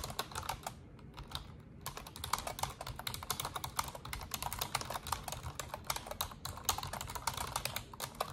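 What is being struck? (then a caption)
Plastic computer keyboard keys. Long orange nails and fingertips type rapidly on an Asus desktop keyboard with black plastic keycaps and a silver frame. A dense stream of sharp, bright plastic clicks and clacks breaks only briefly near the two-second mark. Each tap dies away almost instantly over a soft low rumble.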